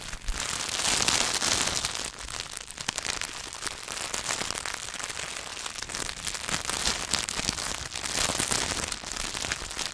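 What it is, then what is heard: Wrapped chocolate bar. Fingertips tap and scratch quickly on the paper and foil wrapper of a solid Hershey's milk chocolate bar. The result is a dense, bright, irregular crackle with rapid crinkly ticks and little low end. It grows louder in bursts near the start and again toward the end.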